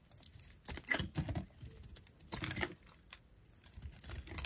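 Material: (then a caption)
Soap. A metal utility knife blade scrapes and shaves the pink face of a solid oval bar of dried pink soap with a green glittery coating. The result is a run of dry, crackly, brittle scraping bursts with bright, high crunch and short, clustered rasps.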